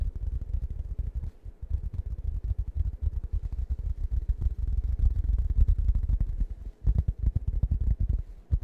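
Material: Fabric, foam.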